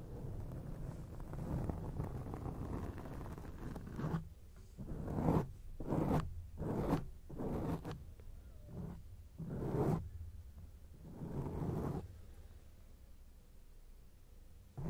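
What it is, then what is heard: Foam microphone windscreen scratched. Long acrylic nails scratch a grey foam microphone windscreen from both sides, producing a muffled, bass-heavy rustling scrape. A steady dense scratching fills the first four seconds, then it breaks into a series of separate, swelling scratch strokes with short pauses between them.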